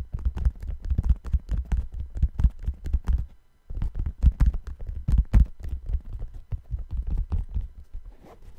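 Fingertips tap the upper and heel area of a hollow, empty brown suede sneaker held close to the microphone. The result is a quick, steady patter of soft, dull, low thuds that die away almost instantly, with a brief pause partway through before the tapping resumes.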